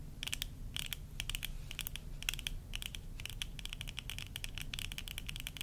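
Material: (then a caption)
Plastic. Long nails tap and scratch the rims and the temple arms near the hinges of worn plastic tortoiseshell eyeglasses, making rapid, irregular clusters of bright, crisp clicks centred around 2.7 kHz. Each click dies away almost instantly over a steady low rumble that runs throughout.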